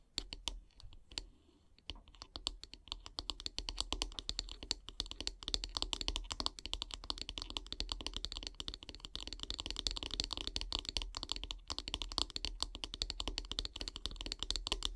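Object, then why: Wooden bristle-brush handle. Long grey nails tap quickly on top of the solid wooden handle of a bristle brush. A few scattered taps open the clip, then a dense, steady stream of short, dry, bright clicks follows with almost no ring, over a faint low hum.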